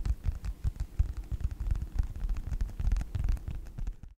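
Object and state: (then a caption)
Faux leather wallet. Fingertips of both hands with short nails tap and scratch a small, flat yellow wallet or phone-case-style folio with a snap button, apparently faux leather, held upright in front of the microphone. The result is a rapid, irregular stream of soft, dull thumps with very little brightness, each tap dying away almost instantly.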